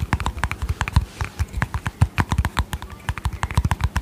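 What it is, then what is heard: Plastic cream tub tapped with fingernails. Long painted fingernails tap quickly on a small, hollow, round white plastic cosmetic tub with a yellow lid. About thirty short, dry taps each combine a low hollow thud with a bright click and die away almost instantly, in an uneven, steady patter.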